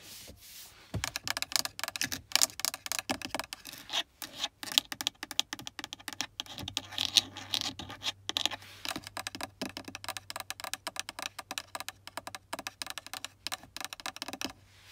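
Long acrylic nails rapidly tap and scratch on a small, partly full clear plastic water bottle with a black plastic screw cap, standing in a car cup holder. The sound is a dense run of sharp, bright, dry clicks mixed with scratchy rasps, mostly high-pitched and with no ringing after each hit.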